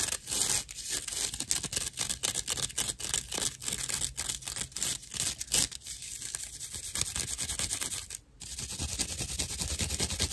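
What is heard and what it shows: Long acrylic nails roughly scratch a thick slice of dried natural loofah fiber with hollow chambers, held in the palm. The result is dense, bright, crackly scraping in rapid bursts, with a brief near-silent gap just past the eight-second mark before the scratching resumes.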